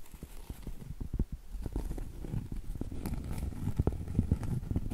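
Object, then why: Cork trivet. Long stiletto acrylic nails tap across the surface and thick edge of a round solid cork trivet. The result is a quick run of soft, dull, low knocks that stop dead, with no ring and no brightness.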